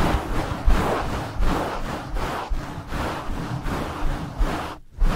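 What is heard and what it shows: Two hands in nylon mesh scrub gloves rub aggressively up and down over a black foam windscreen on a blue microphone. The result is a fast, uneven series of scratchy, rushing strokes with a heavy, booming low rumble, pausing briefly near the end before resuming.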